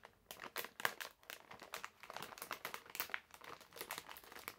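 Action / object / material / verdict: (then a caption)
scrape / plastic-film candy bag / plastic film / none. A medium printed plastic-film bag full of hard candies is held in both hands while fingertips crinkle and fold the film. The result is a quiet, steady stream of dry, bright crinkling and crackling bursts with almost no low end, each snapping off quickly without ringing.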